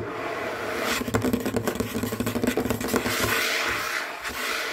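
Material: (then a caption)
Wood. Fingertips and short nails of both hands tap and scratch fast in claw-like motions across a large, solid, dark wood or wood-look tabletop. A steady dry scraping hiss is broken by a dense run of quick, sharp taps with a low woody resonance, then it eases back to smoother scratching.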